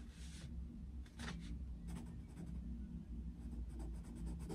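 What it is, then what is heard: Pencil colouring on paper. A yellow wooden coloured pencil shades an open paper colouring book on a desk with fast rubbing and scratching strokes. Short bright, hissy scratch bursts come and go over a steady low hum.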